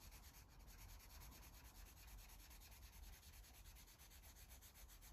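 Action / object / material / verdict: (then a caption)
scrape / felt-tip marker on a stack of paper pages / paper / none. A Sharpie felt-tip marker rubs repeatedly over a page of a paper coloring book, a thick stack of white pages lying flat, while coloring. The result is a quiet, steady, rhythmic scratchy rubbing with bright papery strokes over a low rumble.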